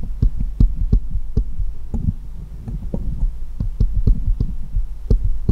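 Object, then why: Steel jeweller's screwdrivers. Fingers hold one small solid steel jeweller's screwdriver and tap it against a pile of others, making a quick, irregular run of short, dull, thumping taps. The taps sound heavy and low, with only faint bright clicks, over a steady low hum, and each tap dies away almost at once.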